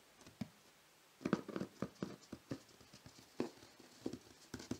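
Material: Cardboard.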